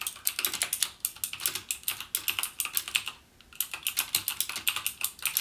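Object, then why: Mechanical keyboard with plastic keycaps. Fingertips type continuously on a backlit plastic mechanical gaming keyboard with plastic keycaps and Cherry MX Blue switches, producing a rapid stream of sharp, bright clicks with very short decay and almost no low end. The typing pauses briefly just past the three-second mark, then resumes at the same quick pace.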